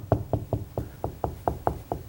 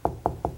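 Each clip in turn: First: solid wall at stud location. Second: hollow drywall between studs.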